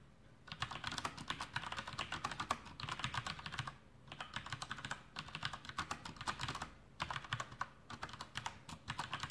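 Fingertips of both hands type continuously on a full-size black plastic Masterkeys Pro M mechanical keyboard with Cherry MX Brown switches and blue backlit keycaps, resting on a desk. Quick, bright clacks centred around 1.2 kHz come in steady bursts, with brief pauses between runs. Each keystroke dies away almost instantly.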